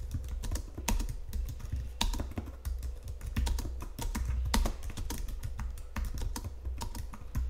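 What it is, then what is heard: Plastic computer keyboard being typed on. Fingertips and nails type steadily on the keys of a white plastic Logitech keyboard resting on marble. Each press gives a short, dry tap with a bright click over a soft low thump, and the keystrokes run on quickly with no pauses for the whole clip.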